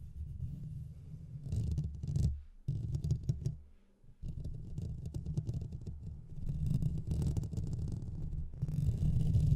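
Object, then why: Metal mesh microphone grille. Fingernails on both hands scratch the sides of the hollow metal mesh grille on a Blue Yeti microphone. The result is a dense, deep rumbling scratch made almost entirely of low frequencies, with faint bright crackle above. It drops out briefly twice before building back up louder toward the end.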